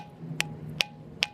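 Three sharp taps of a rock on the circular indentations of a ringing bell rock, a stone from the Santa Ana Mountains in Orange County, California, give bright, high-pitched ringing clinks around 2.7 kHz. The indentations ring, unlike the dull rock-against-rock sound from the rock's regular surface.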